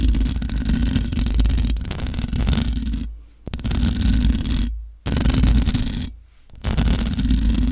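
Long nails scratch the sides and top of a large black microphone's hollow metal mesh grille. The result is a loud, dense, low rumbling scrape with a faint hiss above it. It comes in four sustained bursts, each broken by a brief drop to near silence.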